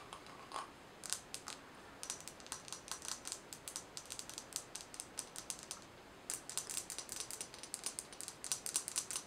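A round, thin, hollow silver metal jar lid, held in both hands, is tapped and scratched with long nails. Dozens of quick, bright, clicky taps come in uneven bursts, each dying away almost instantly, with short pauses near 2 and 6 seconds and very little low end.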